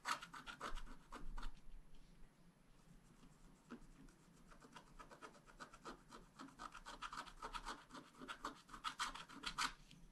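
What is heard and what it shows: A wooden stylus scratches fine lines into the coating of a thin, black-coated scratch-art card lying flat. Quick, dry rasping strokes come in uneven bursts with a bright, papery edge, softening to a gentle scraping in the middle before growing louder again toward the end.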